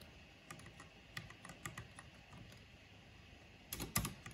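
One hand with long painted nails presses single keys with its fingertips on a backlit mechanical keyboard with black plastic keycaps. Sparse, short, crisp clicks with a low thock underneath come at irregular intervals over a quiet background. A few louder, closer-spaced clicks come near the end.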